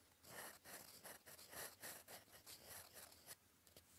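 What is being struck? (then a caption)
Metal pen nib on a paper sheet. A gold metal fountain pen nib, held in fingers, scratches across a flat sheet of cream lined paper on a desk while writing cursive. Soft, bright scratchy strokes come in a loose, uneven rhythm, then fade to quiet near the end.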